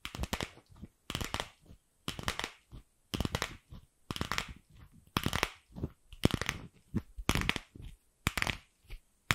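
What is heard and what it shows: Long acrylic nails tap and scratch a single pink, fist-sized, empty hollow plastic ball. Quick clusters of crisp clicks and scratchy rasps repeat roughly every second with short silences between. Each burst is bright and dry, with a light hollow thump underneath.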